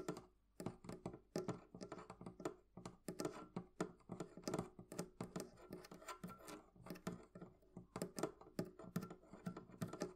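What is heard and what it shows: Long painted nails tap and scratch a small antique-style metal hasp latch on the front of a hollow wooden barrel-shaped chest. A rapid, uneven run of sharp clicking taps with very short decay is heard, with a hollow low-mid body under each tap and faint scratching between them.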